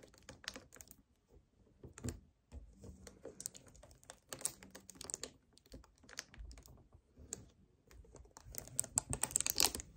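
Fingertips and nails tap and grip the lower sides of a hollow 1 L white plastic strawberry kefir bottle standing on a table. The result is soft, dry, bright clicks and scratchy crinkles that come in quick irregular bursts, with brief quiet gaps and a denser flurry near the end.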